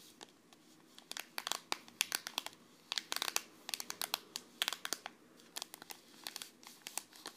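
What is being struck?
Foil-laminated tea sachet.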